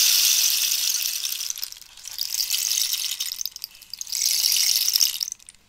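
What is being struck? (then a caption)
Cactus wood rainstick with loose pellets. A long, hollow cactus wood rainstick is turned from upright to horizontal, sending its inner pellets cascading while long nails scratch its surface. The result is a bright, hissy patter of tiny clicks in three swells that rise and fade before trailing off into quiet.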